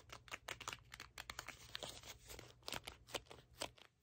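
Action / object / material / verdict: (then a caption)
tap / small cardboard box / cardboard / none. A small red cardboard box is held in both hands while fingernails tap and scratch its printed face. Quick, dry, bright clicks and papery scratching sounds come in an irregular patter over a faint low hum, with no ring after each tap.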